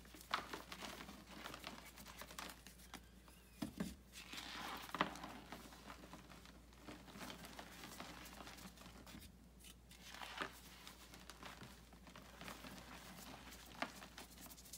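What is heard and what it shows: Bare hands squeeze, crush and rub compressed white gym chalk blocks (magnesium carbonate) over loose chalk powder in a large white bucket, with a solid block held in one hand. A continuous soft, dry crunching and crinkling plays over a faint low hum, with a few sharper snaps standing out. The chalk crumbles steadily into powder.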